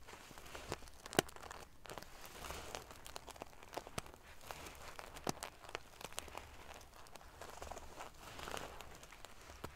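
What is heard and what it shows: Fingertips and long nails pinch, scratch and ruffle the silver metal sequins near the top edge of a soft sequin-covered pillow. The sound is a steady, quiet stream of crinkly rustling and scratching, broken by sharp, bright clicking ticks.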